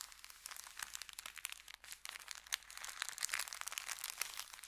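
Fingertips rub and press across an empty, folded brown kraft paper bakery bag resting on felt. A dense, continuous run of crisp, bright crinkles and crackles plays throughout, with almost no low end. Each crackle dies away instantly.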